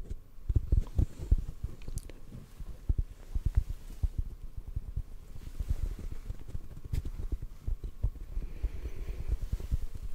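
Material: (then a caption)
Foam. A hollow black foam microphone windscreen, held in the hands, is tapped softly and rapidly with the fingertips. The taps come as dull, muffled low thumps with almost no high content, each dying away at once, over a quiet rustling background.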